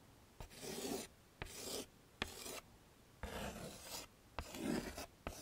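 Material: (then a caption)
Chalk. A stick of chalk is scraped across a small, flat black chalkboard set in a wooden frame, tracing over letters. Each stroke begins with a sharp tap, then turns into a dry, gritty rasp that reaches into the high frequencies. The strokes come in short bursts separated by brief quiet gaps.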